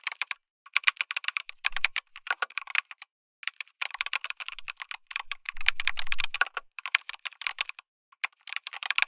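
Fingertips type continuously on a backlit mechanical keyboard with plastic keycaps, an FR4 plate and tactile switches. The result is bursts of quick, bright clacks with short pauses between them. A brief low thud sounds near the six-second mark.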